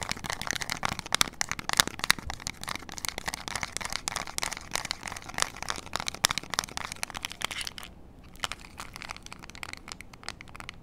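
Long acrylic nails tap and scratch the rubber buttons and casing of a small, flat, hollow plastic IR remote control for LEDs. The result is a dense stream of sharp, bright clicks and crinkly scratches with very little low end, centered around 3.8 kHz. The sound briefly thins out near the 8-second mark before the tapping resumes.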